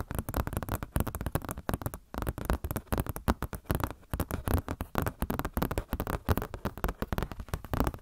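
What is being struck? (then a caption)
Glossy paper catalog booklet. A glossy paper Blizzard Shop catalog booklet, held in front of the face, is scratched and tapped with long nails. The result is a rapid, continuous run of dry, crackly taps and scrapes in short bursts, heavy in the low end with little brightness. Each tap dies away almost instantly.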